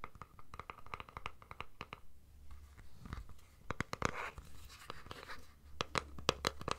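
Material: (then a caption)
Plastic. Fingernails scratch and tap along the casing of a hollow plastic deodorant stick container. Quick, irregular dry clicks and short scratchy strokes crackle brightly over a steady low hum.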